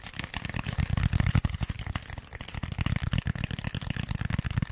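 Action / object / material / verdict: tap / styrofoam packaging insert / styrofoam / none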